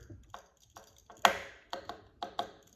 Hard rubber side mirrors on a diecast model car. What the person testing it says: if you tap them, you'll hear it. They're flexible.